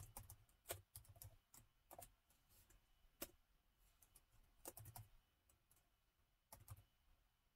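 Fingertips of both hands tap the keys of a plastic laptop keyboard set in a gold metal chassis, typing in an irregular rhythm. The quiet, short clicks pair a soft low thump with a bright tick, coming in uneven bursts separated by brief pauses.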